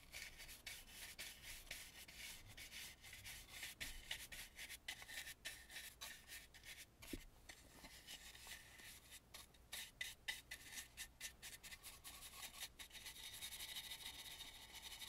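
A small round stencil brush held in the fingers scrubs the dark inner surface of a hollow, carved and painted antique wooden mask. Quick, irregular brush strokes make a soft, dry, bright scratching rub that stays quiet and mostly high, with little low end.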